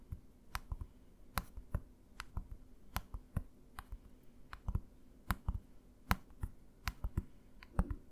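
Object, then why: Plastic bottle. A green plastic bottle, held tilted in one hand, is tapped by the fingertips of the other hand. The result is a series of short, dry taps at irregular spacing, each a soft low thump with a faint bright click that dies away almost instantly over a quiet background.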